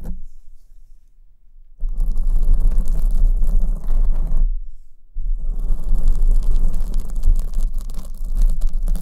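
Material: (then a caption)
Foam. Long acrylic nails scratch a black foam windscreen on the right microphone while the other hand cups its top. After a quiet start, a dense, low, muffled rumbling scrape runs from about 1.8 to 4.5 seconds. It breaks off briefly, then resumes and continues to the end.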